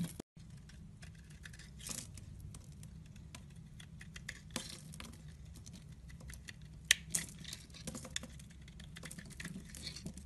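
A metal blade shaves and carves flakes off the edge of a solid white embossed soap bar held in the hand. Soft, crisp scraping and crackly cutting sounds are heard with bright, papery texture over a faint low steady hum. A sharper snap stands out about two-thirds of the way through.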